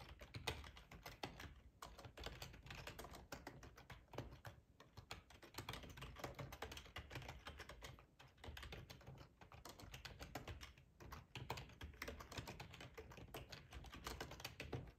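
Both hands type rapidly with their fingertips on a full-size, hollow-bodied black plastic split ergonomic keyboard lying on a plaid tablecloth. A steady stream of quick, dry key clicks and taps, each with a low, hollow thud underneath, dies away almost instantly, with only a few brief pauses in the rhythm.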